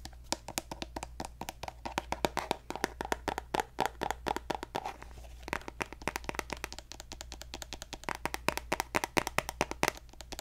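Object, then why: Plastic cosmetic squeeze tube. A hollow pink plastic lotion squeeze tube with a gold cap is tapped rapidly with fingertips and nails close to the mic. The result is a dense stream of short, dry clicks and taps with a hollow midrange tone and bright edges, over a steady low hum.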